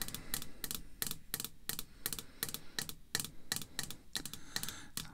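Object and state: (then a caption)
Hard plastic graded card case. Red artificial nail tips tap a small, hollow, hard clear plastic graded card slab (a PSA case holding a vintage card) resting on black cloth. The taps come in a quick, irregular run of sharp, bright clicks, each dying away almost at once over a faint low background rumble.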